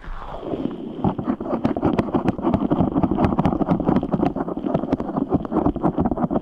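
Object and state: Rubber stress ball filled with gel beads.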